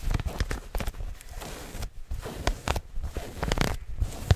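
A soft, stretchy maroon knit garment, like tights or leggings, is held bunched up right in front of the microphone and scratched quickly with long fingernails by hands wearing rings. Rapid, close scratching makes a dense, low, thumping rustle in fast bursts broken by a few brief pauses.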